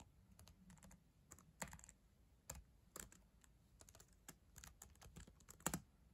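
Long acrylic nails and fingertips type on the plastic keys of a solid black ThinkPad laptop keyboard. Quick, irregular bright clicks and taps are heard over soft low thumps, each sound dying away almost instantly.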